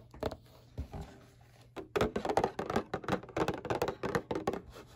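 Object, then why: Cardboard tissue box. Fingertips and short painted nails tap on the bottom of a hollow, flat rectangular printed cardboard Kleenex tissue box lying upside down. An uneven run of quick, dull, hollow taps, some clustered into soft rolls, each dies away almost at once over a faint low hum.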